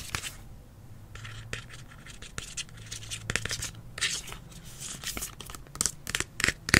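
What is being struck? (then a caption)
Plastic spray bottle. Fingernails tap and scratch the body and blue plastic spray nozzle of a hollow, medium green plastic detangler spray bottle held in hand. Bright, dry scratching bursts and quick tapping clicks come in uneven clusters over a faint low hum, ending with a few sharper taps.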